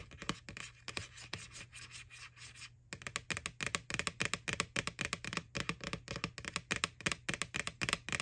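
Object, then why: Empty plastic bucket. Long nails tap and scratch on the printed face of an empty, white, hollow plastic ghost Halloween bucket (a McDonald's Boo Bucket) lying on its side. Soft, bright scratching and lighter taps fill the first few seconds. After a brief pause near the three-second mark, a rapid, irregular run of sharp, dry clicks follows, each dying away almost instantly.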